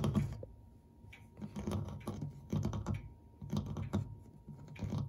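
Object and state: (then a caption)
Brass clock ornament, tapped and scratched. Fingertips and short nails quickly scratch and tap the ornate cast brass corner ornament and the flat brushed metal dial beside it on a clock framed by a wooden case. The result is rapid clusters of soft, dull taps and short scratchy rustles, mostly low in tone, rising and falling in uneven bursts with brief quiet gaps.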